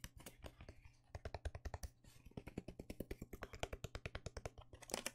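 A small, hollow, empty white cardboard box with an open cut-out window is held up in one hand and tapped and scratched with the fingertips and nails of the other hand. A fast run of dull, hollow taps with a low thump is heard, with brief scratchy bursts and short lulls between the flurries. Each tap dies away almost instantly.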